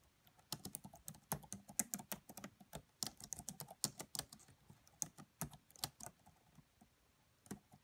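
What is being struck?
Laptop keyboard with plastic keys.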